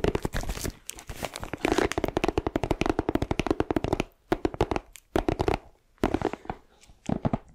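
Long nails scratch and pull at the clear plastic shrink wrap on a flat, shaped cardboard gift box. The result is a dense run of quick crinkling, crackling ticks with a warm low-mid body. The ticks come in bursts, with a few short pauses between them.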